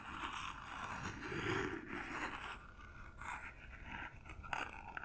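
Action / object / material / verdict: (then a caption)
scrape / small paper-covered cardboard gift box / cardboard / none. Long nails tap and scratch across the surface and corners of a small, hollow cardboard gift box covered in silver paper, held close to the microphone. The sound is a dry, papery scraping with a hollow midrange body, swelling in the first half and then giving way to quieter scratches punctuated by a few sharp, bright taps near the end.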